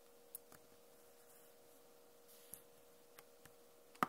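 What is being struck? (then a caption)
Plastic laptop keyboard keys. Long fingernails tap the plastic keycaps of a backlit Acer laptop keyboard, making six short, sharp, dry clicks spread across the clip against a faint steady hum. The last tap is the loudest, and each click dies away almost at once.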